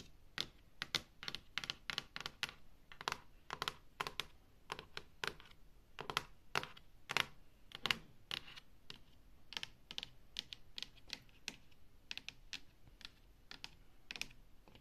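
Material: Wood laminate.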